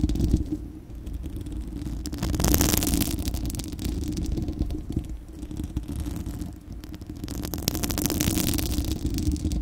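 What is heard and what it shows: Long acrylic nails of both hands scratch the bare, hollow, fist-sized spherical steel wire-mesh grille of a microphone. The result is a continuous, dense, low rumbling scrape with rapid irregular ticks. Brighter, louder bursts of scratching swell in around the middle and again near the end.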